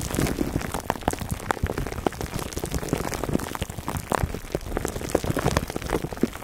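Fingertips scratch the sides of a foam microphone cover wrapped in clear plastic, making a dense, continuous crackle of small crinkling ticks. The sound is mostly low and full-bodied with a faint bright hiss, like rain pattering on a surface.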